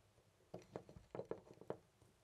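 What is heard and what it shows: A loose brass-colored metal door knob on a white door is slowly jiggled and turned by hand. It makes a quiet series of short, dull metallic clicks and rattles that sit in the low-mid range and die away almost instantly.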